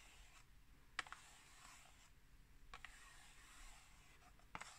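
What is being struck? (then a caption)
Small printed cardboard tea box. Long nails tap and scratch the surface of a small, hollow, rectangular printed cardboard tea box held in the hand. Quiet, soft scratching runs throughout, broken by a few sharp, dry clicking taps that die away almost instantly.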